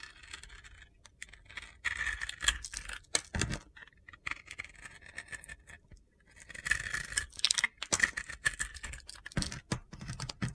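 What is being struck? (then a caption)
Bar of soap with a glitter coating, shaved with a metal blade. A metal utility knife blade shaves and carves crunchy chunks off a palm-sized, solid pink and black glitter bar soap held in the hand. Dense, bright, gritty scraping and crackling come in bursts with short quiet gaps between them, alongside sharp ticks and a few louder, deeper scrapes.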